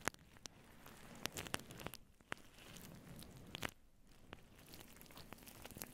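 Long blue nails on both hands vigorously scratch a fluffy grey-white faux fur microphone windscreen in close-up. The result is a dense, soft rustling and crackling texture broken by many sharp, bright scratchy ticks that die away almost instantly.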